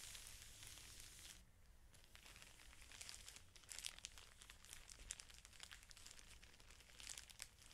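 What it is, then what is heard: Plastic-wrapped felt sheet pack. Both hands press and rub a stack of felt sheets in a clear plastic wrapper, making a continuous bright crinkling and crackling with many quick sharp snaps. The sound eases briefly around the second mark, then returns with denser, louder crinkles over a faint steady low hum.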